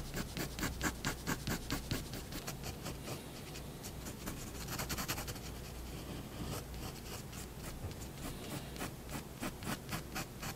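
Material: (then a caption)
Paper. A fineliner tip scratches and rubs across white drawing paper on a wooden desk while finishing hatching strokes and shadow lines. Quick, bright, rhythmic scratches come in bursts at the start and end, with a steadier, softer rubbing stretch in the middle over a faint low hum.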